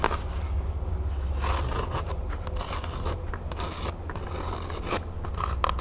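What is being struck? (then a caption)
Cotton canvas pouch. Long nails scratch the surface of an unwrapped cotton canvas pouch printed with a crown, held up close. Quick, dry scraping and rubbing strokes run continuously over a steady low rumble.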